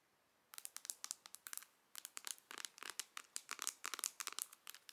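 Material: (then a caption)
Plastic. Long nails tap and scratch the pink pearlescent printed lid of a medium, closed, hollow Charlotte Tilbury pink plastic eyeshadow palette held in both hands. After a half-second of silence, quick, dry, bright clicks come in a rapid burst, pause briefly, then continue in a denser run. They are quiet, with almost no low end and no ring.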